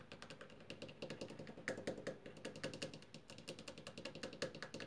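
Long purple-painted fingernails tap and scratch along a solid, white-painted wooden door frame moulding. The result is a quick, uneven stream of short, dry clicks and knocks with a hollow woody tone in the mid-low range, bright nail ticks on top, and faint scratchy rasps between them.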